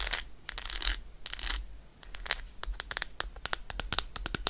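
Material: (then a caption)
Chocolate. Long acrylic nail tips scratch across the embossed squares of an unwrapped dark chocolate bar, a solid segmented slab held in one hand. Early on there are longer, bright scratching strokes, which give way to a rapid run of short, crisp clicks and taps with a low background hum underneath.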